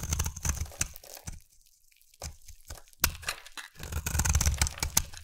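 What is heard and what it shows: A solid, hand-sized oval pink bar of soap is held in one hand and carved with a utility knife blade, chipping off flakes and shavings. Irregular bursts of crunchy, crackly scraping with bright, crisp edges and a low thud beneath them are broken by a short quiet pause, then build louder toward the end.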